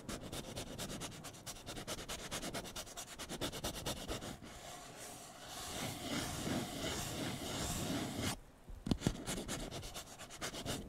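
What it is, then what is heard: Paper cup scratched and rubbed. Fingertips and nails scratch and rub the outer wall of an empty, upright, blue patterned disposable paper cup. Quick, rhythmic scratching strokes with a bright, papery rasp run for about four seconds, then give way to a smoother, continuous rubbing hiss. After a brief near-silent pause, a few scratches resume.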